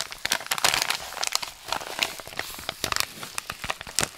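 A medium-sized white paper padded mailer envelope with bubble padding, a Royal Mail label and recycling print, flat and closed with contents inside, is handled and rubbed with fingertips and palms. Dense, bright crinkling and crumpling comes in quick, sharp bursts with almost no low end.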